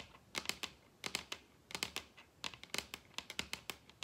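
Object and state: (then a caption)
Wooden tabletop tapped with fingernails. Long red acrylic nails tap and scratch the surface of a large solid wooden dining tabletop, producing about twenty sharp, dry clicks, mostly in quick groups of three. The taps are bright and crisp with almost no low end and die away instantly, with faint scratchy rustling between them.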